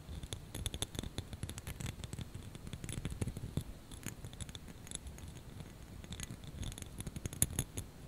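A small clear plastic snowflake ornament hanging on a hanger is scratched and tapped with fingernails. It makes a dense run of quick, soft clicks and scratchy scrapes with a low, thumpy body and bright, crisp ticks on top. Each tap dies away almost instantly.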